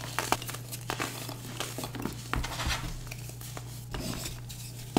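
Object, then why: Pressed baking soda blocks. Bare fingertips squeeze and crumble light-blue, star-shaped pressed baking soda blocks, solid and chalky, over a tray, leaving powder on the fingers. Soft crunches and gritty crumbling crackle over a steady low hum, with a few sharper snaps as pieces break apart.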